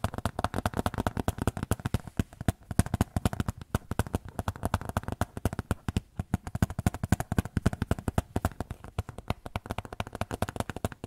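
A small white photo frame is tapped in a quick, steady stream of light taps for about eleven seconds. The taps are soft and dull, with most energy in the low range around 98 Hz, very little brightness, and each one dies away almost instantly.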